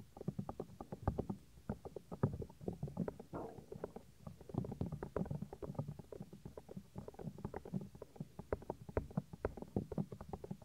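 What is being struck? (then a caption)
Silicone ear of a binaural microphone. Several fingertips rub, press and tap against the white silicone outer ear of a 3dio binaural microphone, working into its folds. The result is a quiet, steady stream of quick, muffled thumps and soft scratchy rubs, heavy in the low end with no bright highs. Each sound dies away almost instantly.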